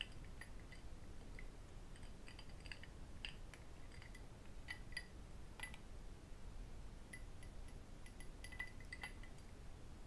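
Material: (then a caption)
Crystal glass. An empty, hollow cut-crystal glass tumbler, held in both hands, is tapped with metal rings on the fingers and with fingertips. The result is repeated light, bright clinks with short ringing, scattered over a low, steady background rumble.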